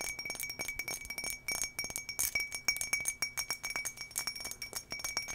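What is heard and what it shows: Long nails tap quickly on an empty, hollow turquoise embossed glass tumbler with a textured surface, held in both hands. A rapid run of dozens of bright, clinking taps, each with a short glassy ring around 2.3 kHz and almost no low end.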